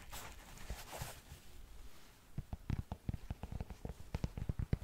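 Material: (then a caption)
Knit fabric. A black knit textile sneaker, hollow and empty, is held close to the mic while long nails scratch and tap its upper and tongue. Soft, breathy scratching comes first, then a run of quick, dull, low taps with a light bright edge.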